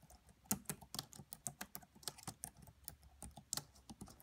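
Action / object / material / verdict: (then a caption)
tap / plastic laptop keyboard / plastic / none. Long nails and fingertips type quietly on the black plastic keys of a red laptop keyboard, making about fourteen quick, bright clicks and taps. The clicks are uneven in loudness and each dies away almost at once.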